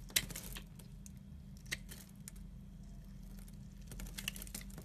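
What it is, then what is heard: Soap bar being carved. A red-handled metal knife cuts and scrapes a solid blue-and-white striped soap block, sending chips falling off. Quiet, crisp, bright scratching clicks and short scrapes sound over a steady low hum, with a few sharper snaps standing out.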